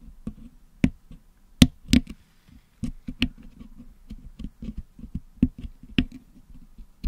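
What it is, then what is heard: Putty-packed metal microphone grille picked with a wooden toothpick. A wooden toothpick picks at the hollow metal mesh dome of a Blue Yeti microphone packed with blue and yellow putty, cleaning the putty out of the grille. Irregular dry clicks and scratchy taps sound close up, each dying away almost instantly, with a dull low-mid body and a few sharper, brighter snaps.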